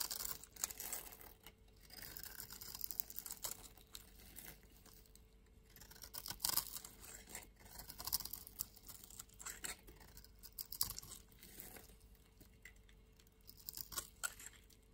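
A metal utility-knife blade scrapes and carves into the patterned surface of a palm-sized solid blue soap bar held in one hand with long nails, peeling off curls. Quiet, bright, crisp scraping and shaving strokes come in short bursts with brief pauses, with no ringing after each stroke.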